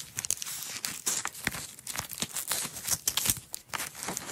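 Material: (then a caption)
Nylon. Hands with long nails roll a red nylon hook-and-loop strap into a coil and peel its layers apart. Quick, bright crackling rasps come in a dense stream of short bursts, with little low end.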